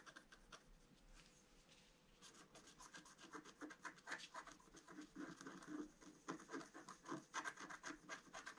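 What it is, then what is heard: Scratch-art paper card. A pointed wooden stylus scratches a flat A4-size scratch-art card, black coating over a colored foil layer, lying on a table. Soft, faint scraping for the first two seconds gives way to quick, rhythmic rasping strokes that grow louder and denser, each a short dry scratch with a bright edge.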